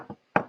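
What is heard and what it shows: An abalone shell, made of calcium carbonate and harder than chalk, is tapped on a desk to show how hard it is. A soft tap is followed by a louder, sharp knock with a brief, dry ring.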